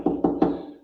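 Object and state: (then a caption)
Hollow core door. Three taps on a cut-out sample of a modern hollow core door, a wood frame with cardboard webbing inside. Each knock gives a short, hollow, drum-like thud centered around 290 Hz, confirming the door is hollow.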